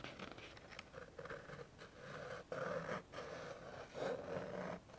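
A flat white and yellow paper greeting card reading "POP" is held in one hand while the fingertip and nail of the other hand scratch and rub the silver scratch-off circle in its middle. The result is a steady series of soft, dry scratching strokes with a papery, mid-range rasp and brief pauses between passes.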